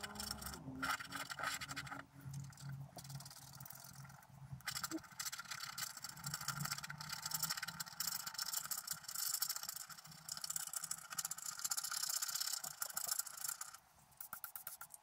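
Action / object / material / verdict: scrape / coated scratch art paper card scraped with a wooden stylus / coated paper / none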